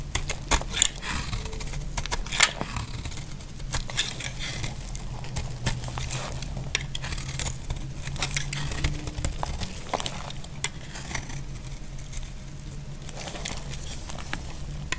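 A utility blade scrapes the edge of a solid, dry lilac Palmolive-type soap bar into flakes, making a steady, bright crackling and crinkling scrape. Sharp clicks stand out early on, over a constant low hum. The scraping continues evenly throughout.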